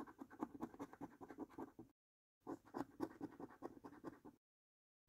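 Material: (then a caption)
Paper. A coin edge scrapes across the middle row of a paper lottery scratch card in quick, rhythmic strokes. The raspy scratching has a low-mid body and comes in two bursts, with silence between them and another short silence at the end.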